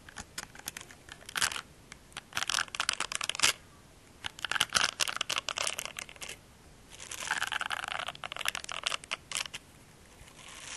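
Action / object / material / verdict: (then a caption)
scrape / silicone facial cleansing brush / silicone / none. Fingernails scratch and rub the silicone nubs on the bristle-textured face of a small, solid, pink silicone facial cleansing brush held close to a microphone. The result is dry, crackly, bright scratching in several dense bursts separated by short quiet pauses, with almost no low end.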